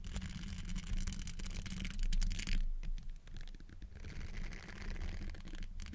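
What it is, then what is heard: Metal mesh microphone grille being scratched. Fingertips in textured silicone finger covers scratch and rub the hollow metal mesh grille of a large black Blue Yeti-style microphone. The result is a dense, irregular run of scratchy, rasping strokes over a heavy low rumble, with brighter friction bursts rising and fading throughout.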